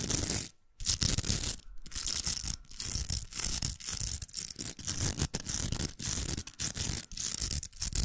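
Long nails scratch the velcro hooks of a large, hollow, pink plastic velcro hair roller held in the hand. The result is a dense, bright, crackling rasp with a low rumbling body, broken by short gaps between strokes.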